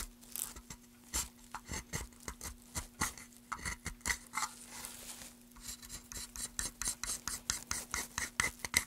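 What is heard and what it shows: A small carving blade scrapes along a carved groove in a solid, pale, light-colored wooden board held upright, making around thirty short, repeated strokes. Each stroke is a brief, dry, bright rasp with little ring. A faint steady low hum sits underneath.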